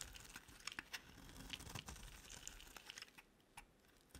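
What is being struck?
Bar of soap scraped by a metal blade.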